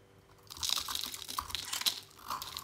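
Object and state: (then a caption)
Dry soap bar being shaved. A utility knife blade scrapes and shaves flakes off a dry, oval, solid teal "Beauty Skin" soap bar held in a hand with long nails. After a half-second of near silence, dense, bright, crisp crunching scrapes begin, with a brief dip near the two-second mark before the scraping resumes.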